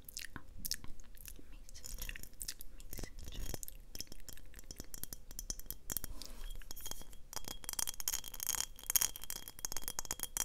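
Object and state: Glass mason jar.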